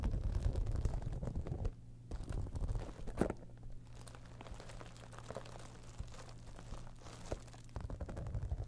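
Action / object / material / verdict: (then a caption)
scrape / textured faux-leather cosmetic bag / faux leather / none. A holographic textured faux-leather cosmetic bag, turned on its side, has long nails scratching across its embossed side panel and top. The result is a dense, rough, crackling scratch that is mostly low and rumbly, loudest at the start and end with a quieter, softer stretch in the middle.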